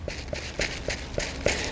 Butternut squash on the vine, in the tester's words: if they sound nice and hollow a bit like tapping a um a table top that tells me that they're ripe